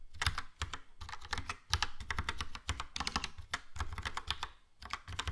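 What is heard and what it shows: A Logitech POP Keys plastic mechanical keyboard, with a yellow plastic case and round plastic keycaps, is typed on with the fingertips. It produces a quick, uneven run of sharp, bright clacks over a low, hollow thump. Each tap dies away almost instantly, with brief pauses between bursts of keystrokes.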